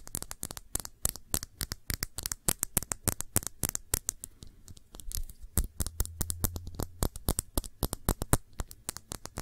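Long nails scratch around the body of a round glass perfume bottle with a blue cap, partly filled with liquid. A rapid, uneven run of short, dry scratches and clicks reaches up into the bright highs and dies away almost at once. A low hum sits under the middle of the clip.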